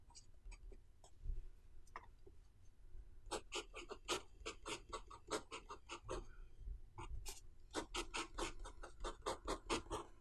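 A metal-nib fountain pen scratches across the thin white page of an open notebook lying flat on a desk while writing Chinese characters. A few sparse, bright scratches give way to bursts of quick, crisp strokes over a low background rumble. After a brief pause, a final flurry of strokes follows.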